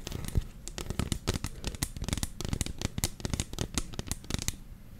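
Long fingernails tap and scratch a medium white plastic lotion bottle with a black pump, hollow with contents inside, held close. A rapid, irregular run of short, dry clicks and scratchy crackles with a low hollow thump under them and bright edges on each hit, with almost no ring after each one.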